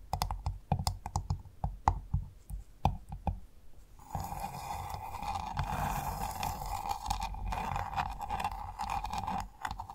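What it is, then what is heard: Clam shell tapped. A pearl-bearing clam's hard shell is tapped with fingers or nails, giving a quick run of dull, clicky taps with a low, thumpy body. About four seconds in, the taps give way to a steady, dense scratching texture with a mid-range tone that continues to the end.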